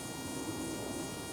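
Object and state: Nothing is struck.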